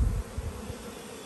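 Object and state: Nothing is struck.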